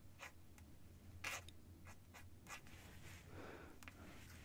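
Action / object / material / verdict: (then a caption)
scrape / metal-nibbed quill pen on paper sheet / paper / none. A feather quill with a metal nib writes on a single sheet of cream writing paper lying flat on a desk pad. The nib makes a series of short, bright, dry scratching strokes, followed by a softer stretch of continuous scratching, all over a faint steady low hum.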